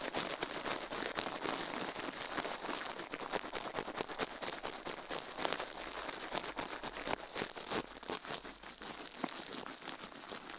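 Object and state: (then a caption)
Silicone microphone ear being brushed. The left silicone ear of a binaural microphone, resting on a steel plate, is scrubbed fast with toothbrush bristles held in a white-gloved hand. It makes a dense, steady stream of bright, crinkly scratching with rapid sharp clicks throughout and almost no low end.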